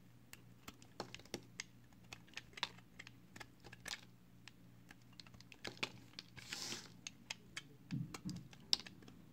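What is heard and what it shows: A small, solid, pale green soap chunk held in the fingers is carved with a box cutter blade. Brief, crisp, bright cutting clicks come in an irregular string over a low steady hum, with a longer hissing scrape near the middle and a rougher scrape toward the end.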